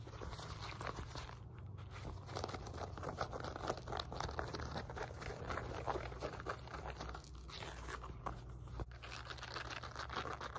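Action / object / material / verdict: scrape / woven fabric resistance band / woven fabric / none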